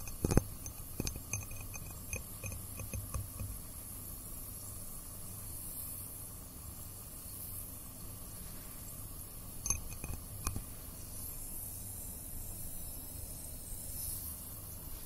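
A small clear cut-glass tumbler with a diamond pattern, hollow and with a cloudy white bottom, stands on a dark cloth in front of a binaural mic while fingertips and nails tap and rub its textured sides, then a hand grips and lifts it. Sharp, bright clinks and ticks come in a cluster at the start and again near ten seconds, over a low steady hum and soft rubbing.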